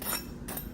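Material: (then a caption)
Pastry. Two light taps on the golden-brown crust of a freshly baked jerk barbecue chicken crescent ring, a pastry made from crescent roll dough. Each produces a short, dry, crackly burst with a bright high edge. The sound shows a flaky, crispy crust that is baked and ready to eat.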